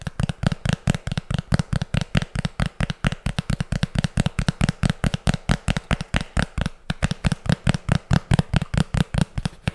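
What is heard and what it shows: A thin, flat, round tan cardboard disc with a black printed label, solid rather than hollow, is held close to the microphone and tapped and scratched with long fingernails. It produces a rapid, uneven run of about 53 short, dry taps with a dull, low-pitched thump and almost no ring. There is a brief gap near the seven-second mark before the tapping resumes.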